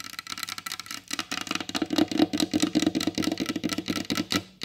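Long blue acrylic nails on both hands tap fast on a solid, glossy varnished wooden tabletop, staying in a steady position throughout. The result is a rapid, uneven stream of short, dry wooden clicks with a woody body around 310 Hz, bright nail-tip edges and almost no ring.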